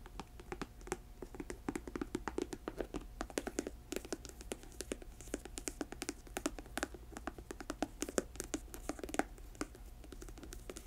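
Long nails tap rapidly on the upper and the thick rubber sole of a black patent leather boot, which is hollow, empty and tilted on a table. The taps are quiet, dry and clicky, with a low-mid hollow body and almost no ring. They patter in uneven, dense bursts over a faint steady low hum.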